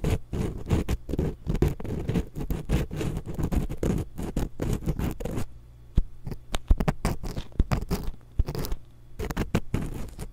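A thin wooden ear pick, held in long-nailed fingers, scratches the metal mesh capsules of a small hollow X-Y stereo microphone. Dense, scraping scratches give way to sparser, sharper clicks and rasps, all heavy in low rumble with very little high content. Each stroke dies away almost instantly.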